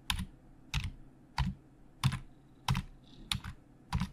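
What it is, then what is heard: Plastic computer keyboard. Fingertips of both hands type on the hollow plastic keys of a black plastic Logitech full-size keyboard resting on a desk. Each key press lands as a short clack with a low, hollow thud and a bright, crisp click that dies away almost instantly. The presses come in a steady, slightly uneven rhythm, about one every two-thirds of a second, some doubling into quick pairs.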